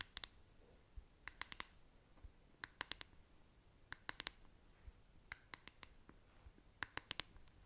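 Long nails tap and scratch the smooth back and bristle side of a black plastic paddle hairbrush. About 23 sharp, bright plastic clicks come in quick clusters of three or four, separated by short pauses filled with a faint, soft scratching hiss. The clicks are dry and die away instantly, and the overall level is quiet.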